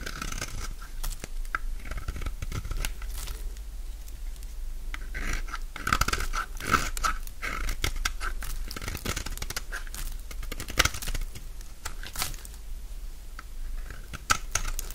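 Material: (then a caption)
Soap. A utility knife scrapes crunchy shavings off a solid oval bar of dry orange soap. Dense, dry crackling and scraping bursts follow one another with very short decay, over a steady low hum. Brighter crunches stand out near the middle and end.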